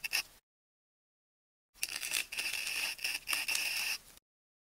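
The tip of a metal craft knife scores and scratches the surface of a solid, hand-sized ball of wound pink, white and orange adhesive tape held in one hand, peeling back the tape layers. A brief scratchy squeak is followed by a pause, then about two and a half seconds of continuous bright, squeaky scraping with a steady whine near 2.6 kHz. The sound has almost no low end.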